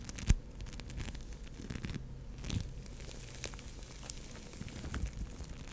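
An orange lump of foam bead clay (floam), soft and solid, is squeezed and scratched with long nails and fingertips. It gives a quiet, continuous crackling and crunching texture weighted toward low tones, with brief bright ticks. A sharp louder snap comes early, and a softer swell follows midway.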